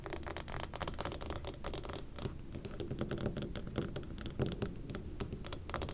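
Long dark painted nails scratch and tap the outside walls of a large amber glass jar candle from both sides, the jar full of melted wax with two lit wicks burning. A steady run of quick, dry scratches and clicks sounds, with a faint high glassy ring on some taps that dies away almost at once.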